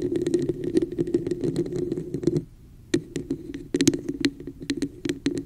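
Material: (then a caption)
Plastic. Long nails and fingertips tap and scratch the sides of a hollow, textured red plastic cup with a raised pattern held over the microphone. Quick, crisp clicks and scratchy patter ride on a low, hollow boom from the cup. A brief quiet pause comes midway before the tapping resumes.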